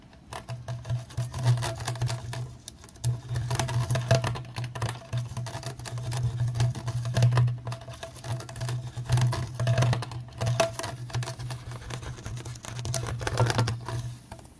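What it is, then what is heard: Plastic water bottle. Fingertips rapidly tap and drum on the ridged surface of a clear, apparently empty PET plastic water bottle held close to the camera with its bottom facing the lens. The result is a dense, continuous patter of soft, hollow thumps centered on a low tone around 125 Hz, with a faint, steady ring near 650 Hz. The pace and loudness rise and fall in bursts throughout.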